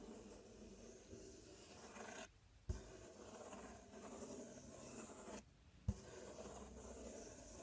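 Fingertips and nails scratch across the front panel of a large, empty, open corrugated cardboard box, making a steady, raspy rubbing noise with a bright hiss on top and a low, hollow rumble underneath. The scratching stops briefly twice, and each pause ends with a short, dull thump before the scraping resumes.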